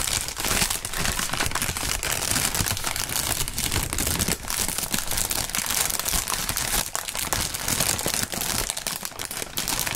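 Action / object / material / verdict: scrape / plastic air-cushion packaging film / polyethylene film / none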